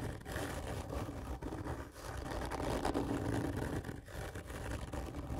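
Long fingernails of both hands scratch hard and slowly across a large, hollow, black printed cardboard whisky gift tube lying horizontally. The result is a dense, continuous raspy scraping with a low, hollow boom from the tube, rising and falling slightly with each stroke and carrying little bright treble.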